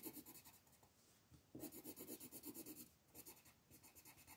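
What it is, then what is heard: Colored pencil scratching a paper page. A teal-barrel colored pencil scratches across a flat paper coloring book page in small, quick strokes while the other hand holds the sheet. Quiet, bright, papery scratching comes in rapid bursts of about 14 strokes, softening briefly around 1 to 1.5 seconds and again near 3 seconds before resuming.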